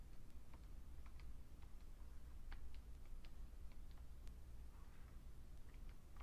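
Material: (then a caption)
Plastic. Fingertips type slowly on a vintage beige plastic full-size Fujitsu Siemens computer keyboard, giving short, dry plastic key clicks. The sparse, brief clicks sit over a steady low hum that carries most of the sound's energy.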